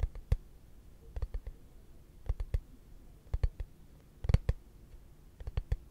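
A hollow, translucent frosted plastic case is held flat and tapped with fingertips and short nails. Short, dry clicking taps come in loose clusters, each with a soft low thud and a faint bright tick that dies away at once without ringing.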